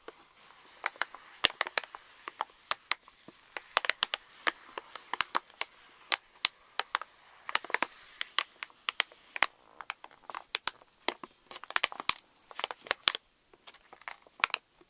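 Fingers rub and crinkle the front of a pink Reese's candy pouch made of plastic foil laminate resting on a table, while nails scratch across it. The result is a dense, irregular stream of sharp, bright crackles and crinkles that die away instantly, with almost no low end beneath them.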